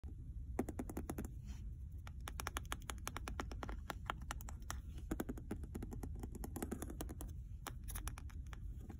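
Dozens of quick, light ticks come in bursts, each dying almost instantly, with a steady low rumble beneath. Nails tapping and scraping along a leather-covered book spine give this dry, papery clicking, since the packed pages and board absorb any ring.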